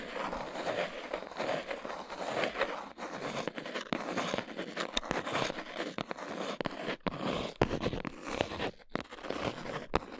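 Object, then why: Cardboard box. A small brown cardboard box with folded flaps is held in both hands while fingertips and nails tap and scratch its sides. Dry, papery scratching and crisp, quick taps blend into a dense, continuous texture with short pauses between strokes.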